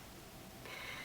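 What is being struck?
Nothing is struck.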